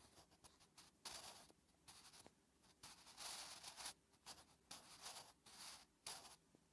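A wooden graphite pencil held in the fingertips writes Korean letters on a thin lined notebook page resting on a flat surface. The graphite scratches across the paper in a run of short, bright, hissy strokes with brief pauses between them. The sound is quiet, with almost no low end.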